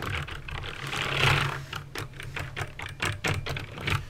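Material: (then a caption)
Plastic. Fingertips with painted nails type on a backlit plastic mechanical keyboard with clicky green switches. The result is a rapid run of sharp, bright clicks over a steady low hum. The clicks blur together at first, then separate into distinct keystrokes.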